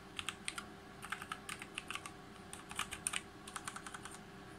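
Fingertips type rapidly on a full-size RGB G513 Carbon mechanical keyboard with GX Brown switches, its plastic keycaps set on a brushed aluminum plate. The result is a quick, uneven run of short, crisp, bright clicks and clacks that die away almost instantly over a faint steady hum.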